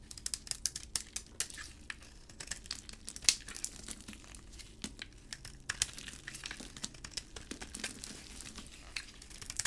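A utility blade scrapes crumbly flakes off a solid green hard bar of dry soap with a white interior, held in a gloved hand. Quiet, dense, bright crackling and crisp scraping fill the clip, broken by many sharp, short clicks with almost no low end.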